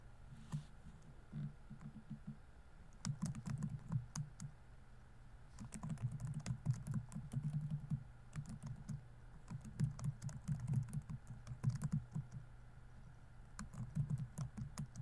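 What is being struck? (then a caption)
Laptop keyboard with plastic keys. Fingertips type continuously on a laptop keyboard with plastic keys, giving soft, dense clicking in bursts separated by brief pauses. The key taps have a low, muffled body with short bright ticks and no ringing.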